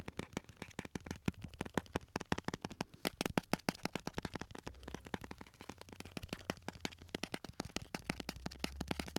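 A small clear jar with a lid, full of round orange and red sweets, is tapped rapidly with fingertips and nails while held beside the microphones. The result is a fast, uneven stream of short, crisp clicks and taps that die away almost instantly, with a faint low rumble underneath at times.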